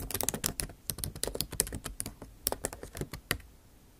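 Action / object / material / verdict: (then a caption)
tap / laptop keyboard, plastic keys / plastic / none. A backlit MacBook Pro keyboard with bare plastic keys in an aluminum body is typed on with the tips of long acrylic nails. About twenty quick, crisp, bright clicking taps are heard in an uneven typing rhythm, each stopping almost instantly, with quiet gaps between the bursts.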